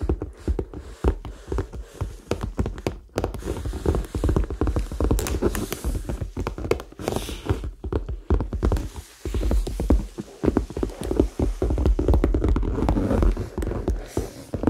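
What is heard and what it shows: A medium red faux leather handbag with metal hardware, hollow, is held close to the mic and tapped and scratched with fingertips and nails. Fast, dense, soft taps with quick scratchy brushes run continuously, each sound dying almost instantly. The result is muffled and low-heavy with little bright content.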